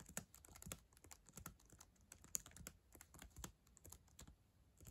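Long acrylic nails type on the plastic keys of a black ThinkPad laptop keyboard. The result is a quiet, rapid, uneven stream of sharp, bright clicks and taps with soft low thuds, each sound dying away almost instantly.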